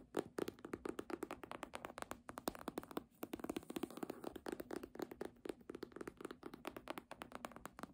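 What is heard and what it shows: Long nails tap and scratch the embossed faux-leather cover and edge of a red hardcover book lying flat. A rapid, steady run of short, dry clicks is mixed with quick raking scratches, with a bright crisp edge and almost no ring after each hit.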